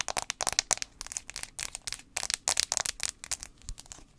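A fingernail taps rapidly on the metal back casing of an iPhone 6s. About 21 quick, crisp taps come through as bright, dry clicks, mostly high-pitched, with almost no low end and no ring after each one.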